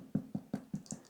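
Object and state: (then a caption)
Baked-through soda bread (hollow). A loaf of Irish soda bread, just out of the oven, is tipped upside down and knocked on the bottom six times. Each knock gives a short, dull, hollow thud centred low around 200 Hz with almost no ring. The hollow sound shows the loaf is baked through, crispy outside and cooked inside.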